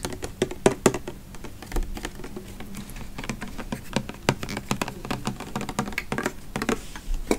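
Fingertips and nails tap and scratch a pink, hand-sized body mist spray bottle with a copper cap and a printed "Oahu Coconut Sunset" label, held close in front of a microphone; the bottle appears to be plastic and full of liquid. A steady stream of quick, dry, clicky taps rides over soft scratching, with each tap dying away almost at once and a low hollow body under the brighter clicks.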